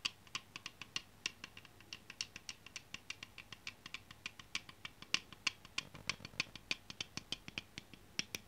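Long painted nails tap and scratch along the body of a full-size aluminium aerosol can of Clair foam cleaner, held in the hands with its blue plastic cap on. Dozens of quick, sharp, bright clicks come at an uneven, rapid pace over a faint hiss. Each tick dies away almost instantly, with very little low end.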